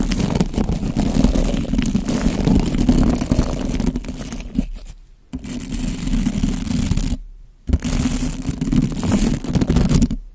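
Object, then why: Bristle brush on a foam microphone windscreen. A white plastic bottle brush with soft bristles is brushed and rubbed across a black foam windscreen over a microphone with the fingertips. The result is a dense, continuous low scratchy rustle, broken by brief silences near 5 and 7.5 seconds.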